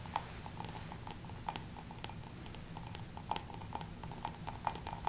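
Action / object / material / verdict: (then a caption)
tap / cut-crystal drinking glass / glass / none. A small, hollow, empty cut-crystal drinking tumbler is held in both hands and tapped with fingertips and nails. It gives a series of short, bright clinks around 900 Hz that die away quickly, over a steady low background rumble.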